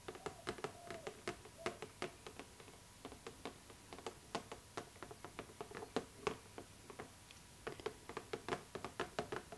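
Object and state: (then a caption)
Cardboard doll box with plastic window, nail tapping. Long nails tap rapidly on the clear plastic window of a cardboard Barbie doll box, producing dozens of quick, crisp clicks in uneven bursts. Each tap is short and dry, with a hollow midrange body and a bright edge. Brief pauses separate the flurries.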